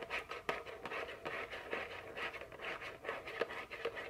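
A small printed cardboard chocolate candy box, likely full, is held in the hand and scratched and tapped with very long fingernails. Dry, papery scratches alternate with crisp, short taps in an uneven rhythm, with bright, quickly fading clicks over a soft mid-range rustle.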